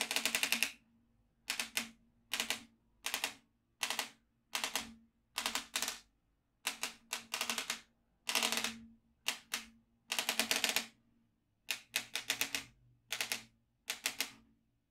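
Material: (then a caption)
Plastic, steel. A yellow magnetic stylus is tapped and moved over the hole grid of a black plastic magnetic drawing pad lying flat on a desk mat, making its steel beads pop up. The result is a series of short, dense bursts of bright, crisp clicking separated by brief silences, with almost no low end and no ring after each burst.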